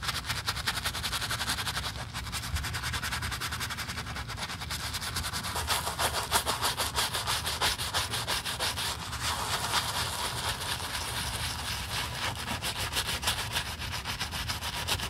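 A black leather high-heel stiletto pump with foam on its upper is scrubbed with a bristle brush. A steady, fast, somewhat uneven run of bright, scratchy strokes continues throughout, with a low rumble underneath.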